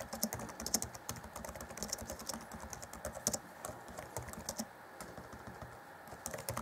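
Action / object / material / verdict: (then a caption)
tap / plastic laptop keyboard / plastic / none. Fingertips of both hands type rapidly on the black plastic chiclet keys of an Acer Chromebook C20 (2014) laptop keyboard set in a grey deck. The result is a quick, steady stream of light, bright plastic clicks and taps, each dying away almost instantly, with a few louder keystrokes standing out.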